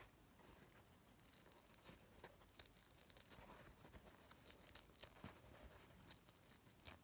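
A thin, soft white paper napkin is held in both hands and pinched, rubbed and crinkled with the fingertips. It makes quiet, bright, crisp rustling and crackling in short bursts over a low, steady hiss.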